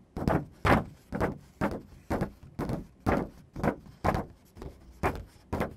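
Fingertips and medium-length nails tap and scratch a single thin sheet of white printer paper lying on a dark surface. Soft, papery rustling scrapes come in short, separate bursts about once a second. Each burst starts sharply and quickly fades, with faint quiet gaps between them.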